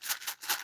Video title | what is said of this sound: Potato overlord is live! | this kind of sounds like glass cuz uh there's like a broken bead in there